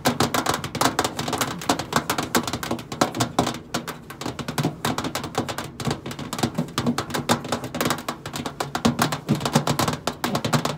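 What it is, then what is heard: Stainless steel microwave side panel. Long pointed acrylic nails tap rapidly on the flat stainless steel side panel of a hollow microwave. The result is a dense, continuous stream of sharp, clicky taps with a brief bright edge and a low hollow resonance, each tap dying away almost instantly.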